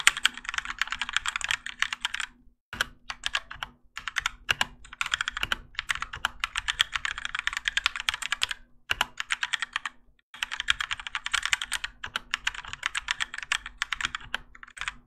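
A Keychron K4 compact mechanical keyboard with Gateron Yellow switches and grey and orange ABS plastic keycaps, on a plastic and metal case resting on a desk mat, is typed on continuously by the fingertips of both hands. Rapid, bright clacking keystrokes run in bursts, broken by short pauses near 2.5, 9 and 10 seconds. A faint steady low hum sits underneath.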